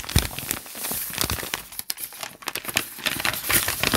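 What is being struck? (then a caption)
Paper notebook pages. Fingertips scratch and crinkle the wrinkled lined white pages of a thick open notebook, lifting and crumpling some of them. The result is a dense, bright run of crackling and crinkling with quick snaps, papery rustles and a few soft low thumps, each sound dying away almost instantly.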